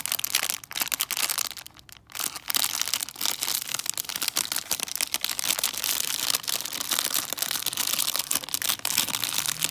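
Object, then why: Foil-wrapped chocolate figure in a cellophane bag. A hollow foil-wrapped chocolate Santa inside a clear cellophane bag is held and crinkled with fingertips and nails. Dense, bright crackling and rustling fill the clip, with a brief quieter lull near the two-second mark before the crinkling resumes steadily to the end.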